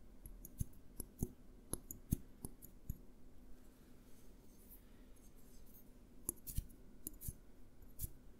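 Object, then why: Small glass jar with lid. A small clear glass jar with a green label and lid is tapped with the fingertips while being turned in the hands. Quiet, irregular soft taps and clicks sound over a low background hum, with a few sharper, brighter taps standing out.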